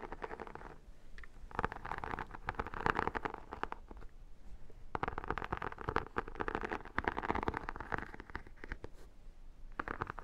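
Long dark nails and fingertips scratch and tap the holographic, embossed vinyl cover of a square, hollow, book-like photo album held in the hand, its paper page edge showing. Bursts of dense, crackly scratching centered in the midrange come and go with brief quiet gaps, over a faint low rumble.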